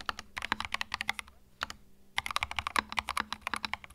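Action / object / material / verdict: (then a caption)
tap / mechanical keyboard with plastic keycaps / plastic / none. Fingertips type continuously on a compact white mechanical keyboard with plastic keycaps, producing rapid, bright clicky keystrokes. The typing comes in quick bursts with a short pause near the middle, and each key hit is sharp and dies away almost instantly.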